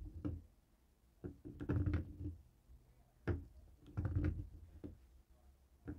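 A dark grey plastic cable TV remote resting on a wooden table is knocked and tapped with a jade roller. The result is clusters of dull, low, muffled knocks and clacks that die away quickly, with quiet pauses between the bursts.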